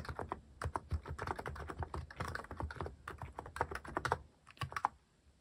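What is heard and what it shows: A white-cased mechanical keyboard with rounded plastic cat-themed keycaps, sitting on a wooden desk, is typed on with fingertips in rapid taps. The result is a quick, uneven run of hollow, clacky keystrokes with short low thumps beneath and almost no ring. The typing pauses briefly before a few final presses.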